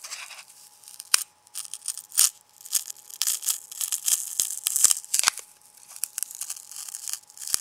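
A small handful of white, ridged, lightweight foam packing peanuts, held in an open palm, is squeezed and crushed by the fingers of the other hand over a bamboo cutting board. The sound is bright, dry squeaking and crackling in dense bursts, with a few sharp snapping pops standing out. Nearly all the energy sits high with no low-end body.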